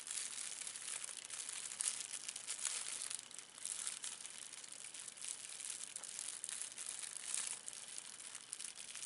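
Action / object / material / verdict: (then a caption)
scrape / thin plastic film wrapper / plastic film / none. A thin, clear plastic film wrapper is balled up and crumpled with the fingertips. It gives a steady, quiet, dense crinkling that is bright and hissy, with quick crackles and no low end.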